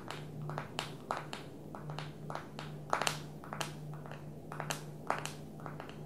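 Long nails tap the glass screen and plastic edge of a small black smartphone held tilted in one hand. The sound is a quick, irregular series of short, crisp clicks, some with a slight tonal ring near 844 Hz and bright high edges, each dying away almost at once. A steady low hum sits underneath the tapping throughout.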